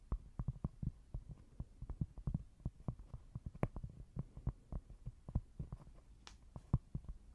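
Long nails tap and scratch a small, thin, solid square cork board, producing a quick, uneven series of soft, dull, low thuds with almost no ring. Faint, brief scratchy sounds occasionally show up between the taps.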